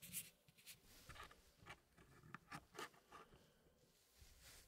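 Gloved fingertips rub and slide solid wood pieces inside a small square wooden packing puzzle tray with a hardwood frame. Soft, quiet scraping and shuffling is broken by several short, bright wooden clicks and taps as the pieces knock together.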